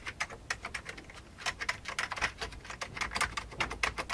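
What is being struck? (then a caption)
Plastic computer keyboard. Both hands type fast with their fingertips on an old beige plastic computer keyboard. A rapid, uneven stream of short, bright clicking keystrokes sounds, each dying away almost instantly, with little low-end weight.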